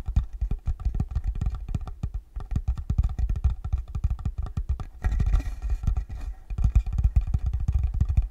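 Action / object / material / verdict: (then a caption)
tap / small wooden box / wood / none. A small, hollow, rectangular wooden box is held flat in both hands while fingertips tap steadily on its top. Each tap gives a short, deep, bass-heavy thud that dies away almost at once, with a slightly busier, denser stretch about midway through.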